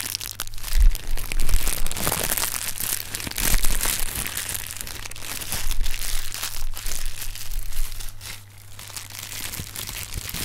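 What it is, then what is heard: Plastic air cushion packing pillows being squeezed. Hands knead and squeeze a cluster of inflated, hollow, clear polyethylene air-cushion packing pillows with green print. The result is continuous bright crinkling and crunching with dense small crackles, plus a steady low hum underneath.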